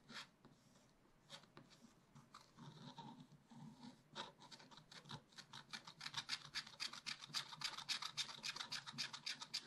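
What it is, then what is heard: Scratch-art paper being scratched. A wooden stylus scratches black wax-coated scratch-art paper on a page of a spiral-bound pad, rapidly filling in a round tree. Soft, sparse scraping builds into quick, repeated bright, raspy strokes, almost four per second, that grow louder and denser toward the end.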